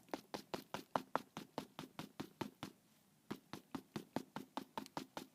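A series of 25 quick, dull knocks on the soft back flap of a quilted leather Chanel 2.55 Reissue handbag, with a brief pause midway. Each tap is short and muted with almost no ring, softer-sounding than the stiffer bottom of the bag. This panel is softer and more prone to sagging over time.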